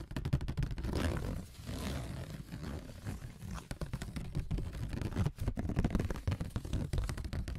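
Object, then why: Corrugated cardboard sheet. Fingertips fitted with AA batteries as long metal "nails" scratch and tap a thin, flat brown corrugated cardboard sheet lying on a table. A low, rough, rumbling scrape runs across its ridged surface, broken by many quick, dry taps and ticks that stop almost at once.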